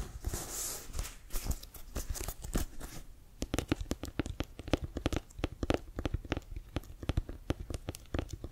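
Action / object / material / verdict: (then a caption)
tap / leather-covered American football / leather / none. Fingernails scratch the laces and textured cover of a brown Wilson leather-covered American football, hollow and inflated, held in both hands. A dry, bright rasping fills the first three seconds, then gives way to a quick, uneven run of short, sharp clicks with a dull hollow body underneath.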